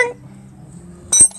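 A steel drive axle on an Acura TSX is tapped into the transmission and seats properly. A low hum runs under the clip, then a single sharp, bright metallic clink rings out near the end as the axle clicks into place.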